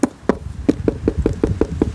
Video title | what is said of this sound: Watch our detailed process of a log home inspection. | then of course it's that Hollow sound this is what it sounds like with a a rotten hole